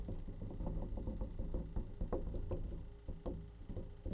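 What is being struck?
Plastic bleach tray.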